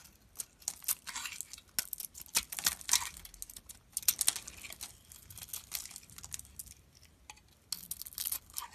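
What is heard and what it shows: A solid red-coated bar of soap, held in the palm, is shaved and carved with a metal utility knife blade, exposing the white soap core as chips fall off. Quick, dry, bright scraping and crisp crackling cuts come in irregular bursts with short pauses. The sound is almost entirely high-pitched with very little low end.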